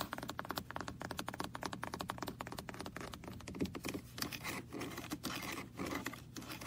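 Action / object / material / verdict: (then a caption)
tap / plastic car-shaped computer mouse / plastic / none. Fingertips and nails tap and scratch the roof and windows of a small red hollow plastic car-shaped computer mouse with a cable, resting on a lap. Quick, dry clicking taps come first, then turn into rougher scratching and scraping over a steady low hum. Each tap is short and dies away almost at once.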